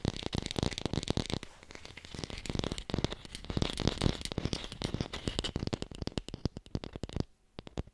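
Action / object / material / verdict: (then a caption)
tap / artificial plastic apple / plastic / fake. An artificial plastic red apple is fast-tapped and recorded with a hi-fi microphone. A dense run of dry, hollow taps with a low thudding body and no ring carries on steadily, then thins into sparser, spaced taps near the end.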